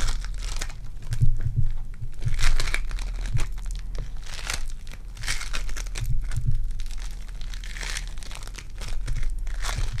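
Purple foam-bead clay is pinched, torn and squished in hands with long dark nails, producing continuous crinkly, crunchy crackling with brighter bursts of tearing. A steady low hum sits underneath throughout.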